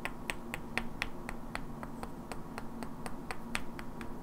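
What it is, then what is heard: Wooden blocks knocked together. Two identical hand-sized solid wooden cubes with black painted characters are held in both hands and knocked and clicked against each other, while long natural nails also tap their edges. The result is a string of short, sharp, bright wooden clicks at an uneven pace, each dying away almost instantly over a quiet, steady low hum.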